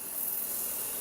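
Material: Nothing is struck.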